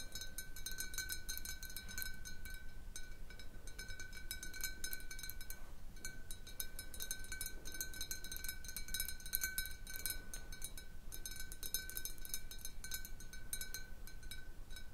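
Long nails tap the walls of a large, clear glass jar partly filled with water, making a steady stream of quick, light clinks. Each tap rings briefly with a clear tone near 1.5 kHz plus bright overtones, over a soft, low background rumble. The tapping pauses briefly a few times.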